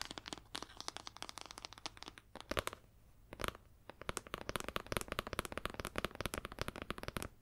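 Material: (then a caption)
Leather. Long nails scratch and tap the ridged spine and cover of a red leather-bound hardcover book. Rapid, dry, bright clicks and scratchy crinkling strokes follow one another with no ring, over a faint low hum. A brief quieter stretch comes near the middle before the dense tapping resumes.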